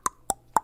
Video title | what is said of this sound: The November 29, 2025 Winter Storm Coverage, As It Happened... | you knock on it, and it's solid, son.